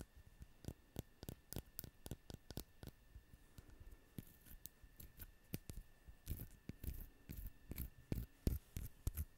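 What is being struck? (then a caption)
Small ceramic owl figurine. Long acrylic nails tap and scratch a small, solid-looking ceramic owl figurine held in both hands. The result is a quiet, irregular run of quick, sharp clicks and taps, mixed with soft scratching in between.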